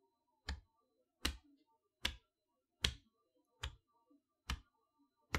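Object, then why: Large cardboard toy box. Long-nailed fingers tap the front panel and window area of a large cardboard chalkboard box held upright. Seven separate, crisp taps land at an uneven pace, each a quick bright click with a low thud beneath it that dies away almost at once. Faint soft rustles fill the quiet between taps.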